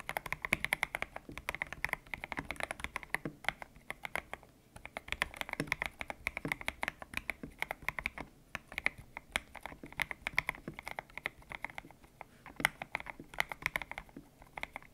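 Fingertips type steadily on a white-cased mechanical keyboard with grey and pink PBT plastic keycaps, its hollow case resting on a desk mat. Rapid, short, bright clacks with a hollow tone around 2 kHz follow one another in a continuous stream, each dying away almost instantly with little low end.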